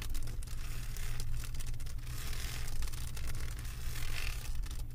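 Long acrylic nails scratch across the resin drills of a flat diamond painting on a canvas board, making a continuous dry, bright scraping and rustling texture. A steady low hum sits underneath throughout, with the scratching swelling and easing slightly in uneven strokes.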